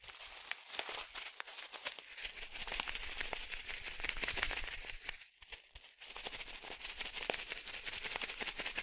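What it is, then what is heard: Plastic sachet of fish food pellets. A small blue and white plastic sachet, partly filled with small fish food pellets, is shaken in one hand. The result is a steady, bright crinkle of plastic with dense, sharp rattling clicks from the pellets, briefly quieter for a moment before the shaking picks back up.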